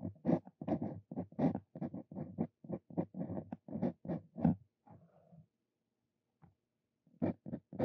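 A Brause Cito Fein steel dip pen nib writes on a paper sheet, its tip scratching the surface in a rapid run of short, dry strokes. A brief pause of faint scraping follows, then a few more strokes resume near the end.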